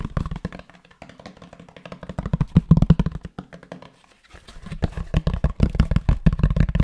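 A grey fabric-covered rectangular cardboard box is held in the hands and knocked and tapped on its cover with the fingertips. The result is a rapid, uneven run of soft, dull, low thuds that die away almost instantly. A brief quiet gap comes around the four-second mark before the tapping picks up again.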